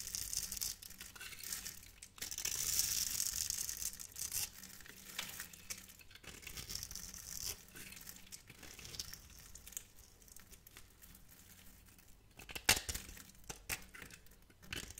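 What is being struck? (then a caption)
Soap bar carved with a knife blade. A metal knife blade scrapes and carves a grid of small cubes and curls into a hand-sized solid peach glycerin-free soap bar with glitter, held in the palm. The cuts make bright, dry scratching and crisp crinkling strokes, with a longer hissing scrape early on and a sharp louder cut near the end.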